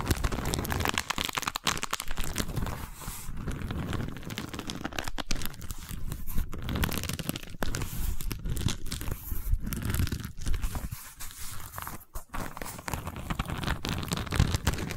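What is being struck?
Woven wicker tube.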